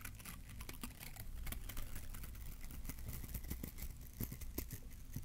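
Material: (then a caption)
Plastic. A small green bottle-brush Christmas tree with glittery plastic bristles, held beside the mic, is scratched with a fingertip. Quick, dense, crackly scratches run continuously over a low rumble, with brief bright ticks and little ring.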